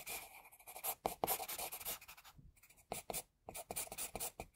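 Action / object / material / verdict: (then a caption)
scrape / graphite pencil on drawing paper / paper / none. A graphite pencil held in the fingers sketches a face outline on a flat white drawing sheet with repeated strokes. The result is quiet, dry, scratchy scraping with a bright hiss, coming in short bursts separated by brief pauses.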